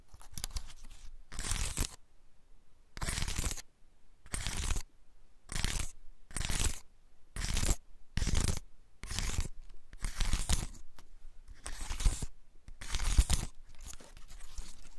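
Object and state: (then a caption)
Dry pine cone. Fingers scratch and rub the open, pointed scales of a large, dry, woody pine cone held in both hands. The result is bursts of dry, bright, crackly scratching, separated by short pauses, over a faint low rumble.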